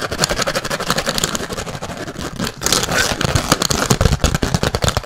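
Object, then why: Thin plastic food container lid. A thin, clear plastic rectangular food container lid with a red vent button is scratched fast with fingernails while held close to the mic. Rapid, dense scratching and crackling fill the clip with bright hiss and low thumpy handling rumble, pausing briefly near the middle before resuming more intensely.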